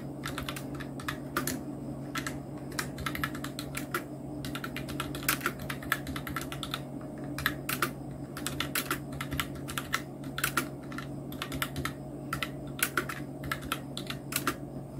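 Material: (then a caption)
Plastic. Fingertips of both hands type on a full-size black Nubwo Illusion NK-70 plastic mechanical keyboard with Outemu red switches, round plastic typewriter-style keycaps and blue backlight. Many quick, bright, clacky keystrokes come in a steady, uneven stream, each dying almost at once over a constant low hum.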